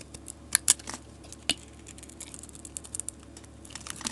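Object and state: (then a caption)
Bar of soap being shaved with a blade. A solid green bar of soap is held in the hand and scraped along its edge with a metal blade, shaving off thin curls. Quiet, dry, bright scratchy clicks and crisp crackles come at an uneven pace, with a few sharper snaps standing out above a faint hiss. Each scrape ends at once with no ring.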